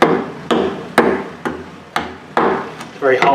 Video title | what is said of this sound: Revive Skateboard - Assembly & Setup (Part 2 of 3) | see if we can hear the difference very hollow sound